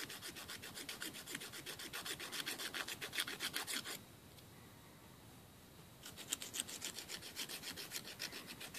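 A thin, flat, solid emery board nail file is rubbed back and forth across short fingernails over a wooden table. This produces rapid, bright, raspy filing strokes for about four seconds, then a near-silent pause of about two seconds, before the strokes resume to the end.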